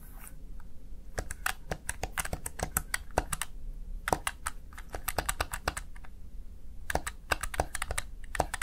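Fingertips rapidly type on the keys of a small backlit plastic gaming keypad, a Razer Tartarus Chroma, seen from the side. Sharp, bright plastic clicks come in quick bursts separated by short pauses. A low, steady rumble sits underneath.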